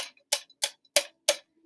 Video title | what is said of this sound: Standing Waves Guided Notes | this can in front of me here that's a much different tone that's its own natural frequency